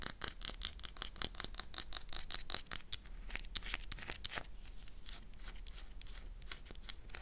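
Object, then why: Solid bar of soap. A solid oval black Magno soap bar held in the hand is scratched with long, dark-polished nails. The result is a run of quick, dry, bright scratching strokes, uneven in rhythm, over a faint low hum.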